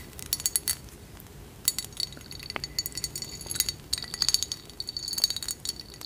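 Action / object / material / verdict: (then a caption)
tap / small ridged cut-glass dish / glass / none. A small, hollow, ridged cut-glass dish filled with dried flower petals is held in both hands and tapped with long acrylic nails along its ribbed sides. Quick bursts of bright, glassy clinks and ticks come in irregular clusters, each very short with a faint high ring and almost no low end.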